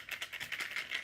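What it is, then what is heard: Homemade rattle filled with small metal jewelry findings. A homemade rattle filled with small metal jewelry findings is shaken in about seven quick bursts, giving a bright, dry metallic clatter with no low end. It may hold one piece too many, and its sound is judged fitting for a shaman or witch doctor rattle, good for Halloween.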